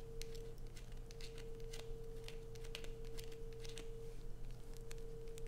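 Long nails scratch along the sides of a solid, light-blue, rounded bar of soap held in the hands, making quick, dry, bright scratching strokes throughout. A steady low hum and a constant tone near 470 Hz run underneath the whole time.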